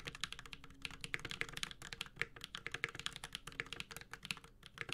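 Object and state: Mechanical keyboard being typed on.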